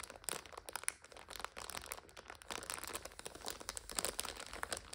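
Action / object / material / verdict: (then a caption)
scrape / instant noodle multipack in plastic overwrap / plastic film / none. Long nails scratch and press a full purple instant noodle multipack in its plastic overwrap. This produces dense, continuous bright crinkling and crunching with quick, sharp crackles throughout, and very little low end.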